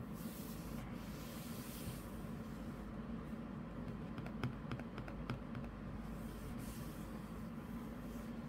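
Fingertips and nails rub and scratch across the glossy printed paper page of an open softcover comic book lying flat on a desk mat. A steady, low, soft rubbing hiss runs throughout, broken in the middle by a brief cluster of sharp little clicks and scratches.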